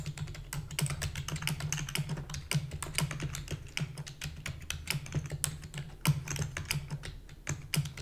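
Rapid typing on a full-size black plastic keyboard with a hollow body, struck with long fingernails and fingertips. A dense, uneven stream of short, bright clicks and taps rides over a low, hollow thud from the keys bottoming out. Each keystroke dies away almost instantly.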